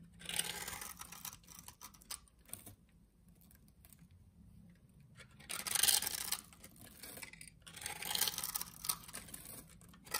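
A solid green rectangular bar of soap with a scored surface, held in hand, is shaved into small cubes with a utility knife blade. Quiet, bright, crisp scraping and crackling cuts come in bursts, with the loudest flurries near the start, around the six-second mark and again toward the end, separated by softer stretches.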